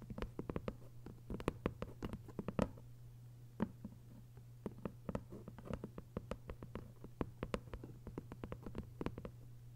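Long acrylic nail tips tap quickly on the textured paper dust jacket of a closed, thick hardcover book lying flat. The result is a soft, irregular patter of many short, dry clicks over a steady low hum.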